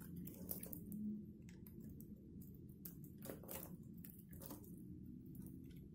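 A metal box-cutter blade scrapes across the striped face of a solid, dry black-and-white striped soap bar held in one hand. The result is a quiet, steady scraping crunch with a heavy low rumble, broken by short, bright crackles and flicks as flakes break away.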